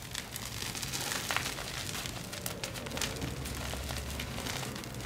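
Fingertips and palms rub and crumble orangey red SPRI dyed gym chalk (magnesium carbonate), a powder with small crumbs, letting it fall back onto the pile. The result is a steady, dense crackle of soft crunching and gritty crinkling with bright grainy detail over a faint low rumble, fairly quiet throughout with small sharp ticks scattered across the clip.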